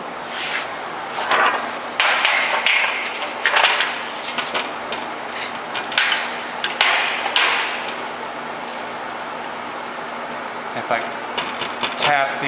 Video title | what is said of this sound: Stretching Newman Mesh Snap Panels Part 2 | there is no rocking in the frame the frame is still perfectly made to these four machine corners